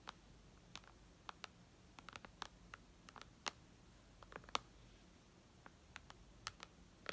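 Long red nails click and tap on the glass touchscreen of a white iPad lying flat. About twenty short, sharp, bright clicks come at an irregular pace over a quiet background, each dying away almost instantly.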